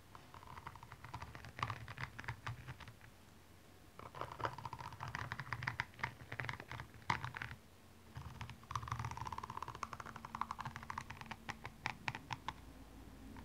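The pointed tip of a makeup brush handle scratches and taps across the small rhinestones covering a single blue high heel, which lies hollow and empty on its side. Quiet bursts of dense, dry clicking and gritty scraping come in three stretches separated by brief lulls, with a faint low rumble underneath.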